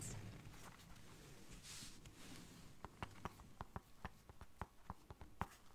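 Long nails scratch a small, round, hollow black zippered case that appears to be fabric-covered, working over both the case and its zipper. A soft, quiet rasping fills the first half, then gives way to a run of about fourteen short, sharp ticks and clicks with no ring.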